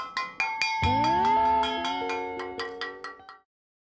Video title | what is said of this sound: The Car Guys_EPISODE 15 Changing exhaust system | striking it every inch or so, listening for those dull thuds